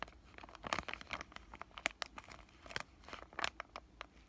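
Fingertips with short painted nails crinkle and squeeze a palm-sized, white, flexible plastic-laminate pouch of acne patches. The result is a quiet, dense run of sharp, bright crackles and rustles, with almost no low end.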